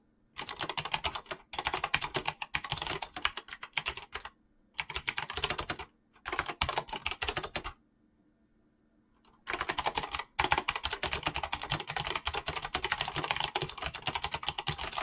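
A mechanical keyboard with clicky switches and PBT plastic keycaps is typed on fast by fingertips, producing dense bursts of bright, crisp clicks. The typing comes in runs separated by short pauses, with a longer silence near the middle before it resumes steadily to the end.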